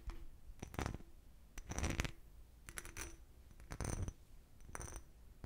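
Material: Crystal glass.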